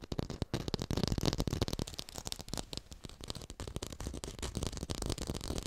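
Fingers tap quickly and continuously on an artificial orange with a textured surface, recorded in high fidelity. The taps are short and dry with no ring, making a dense, slightly rattling patter weighted toward the low end, with some bright crackle on top.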